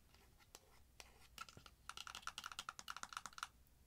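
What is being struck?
Small cardboard eyeshadow palette box.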